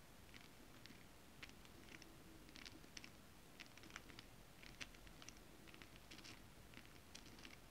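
Long nails tap and scratch the surface of a flat holographic mermaid scale-printed fabric. Quiet, rapid bright ticks and short scratchy bursts come in irregular clusters over a steady low rumble, each dying away almost instantly.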